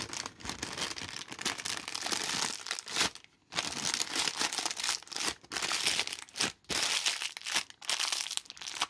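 An empty, thin, translucent white plastic bag is crumpled and squeezed into a small ball by hands in yellow rubber gloves. Dense, bright crinkling and crackling runs almost continuously, broken by a few brief near-silent pauses, with almost no low end.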